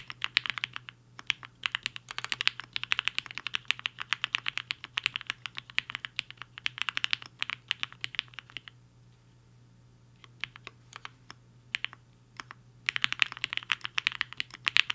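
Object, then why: Mechanical keyboard with plastic keycaps. Fingertips of both hands type fast on a compact HI-FINGER 7.5 mechanical keyboard with a black case and white and pink plastic keycaps, resting on a desk mat. Dense, bright, sharp clacks come in rapid bursts, thin to a few scattered taps for several seconds, then pick back up in a quick flurry. A faint low steady hum sits underneath throughout.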